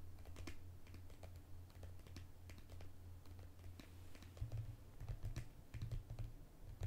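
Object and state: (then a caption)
Plastic squeeze tube. A small, mint-green plastic cosmetic squeeze tube with a cap, which appears to be filled, is held upright and then sideways. It is tapped and clicked rapidly with long green-painted fingernails, producing a fast run of short, crisp clicks over a low, steady hum.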